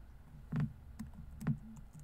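Fingertips type on a laptop keyboard with plastic keys, producing soft, dull, low keystroke taps. Two louder presses stand out among quieter clicks, each dying away almost at once over a faint low background hum.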